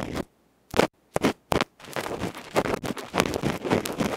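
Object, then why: Metal electret microphone capsule with felt face, bamboo ear pick. A bamboo ear pick rapidly scrapes and scratches the dark felt or mesh face of a small, uncovered, cylindrical metal electret microphone capsule, about 1 cm across, held in the fingertips; this capsule is the one doing the recording. A few separate scratchy strokes are followed by dense, continuous, rough scraping and crackling, loud and close with a broad, harsh texture.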